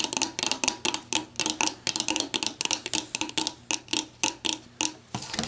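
Long black nails tap and scratch around an orange plastic screw cap on an empty clear plastic bottle and along the bottle's shoulder, producing a rapid series of about two dozen crisp, high clicks. Each tap is short and bright with almost no low end, and faint scratching fills the gaps between them.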